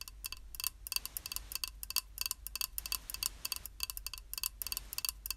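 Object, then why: Small glazed ceramic tile. A small, flat, square beige glazed ceramic tile, solid and held in one hand, is tapped with long acrylic nails in quick, irregular bursts. Each tap is a sharp, bright click with almost no ring, and the bursts sit over a faint low hum.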